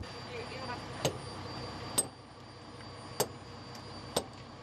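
Rubber truck tires are tapped one after another to check them, producing sharp, short knocks with almost no ring. One tire gives a dull "pok" instead of a clear ring, showing it is punctured or flat and needs repair.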